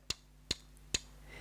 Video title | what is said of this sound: From Skeptic to Admirer: My Surprising Experience with the Baltic MR01 Dress Watch | when you tap it, it's a bit springy